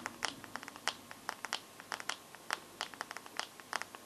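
Fingernails tap and scratch across the glass screen and metal frame of a bare smartphone. The result is a quick, irregular run of sharp, bright clicks with dry scratchy texture between them. Each tap dies away almost instantly, with no low-end body.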